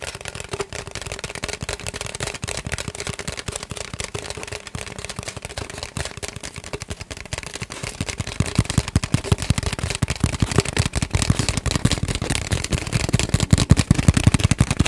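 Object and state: Empty cardboard tube.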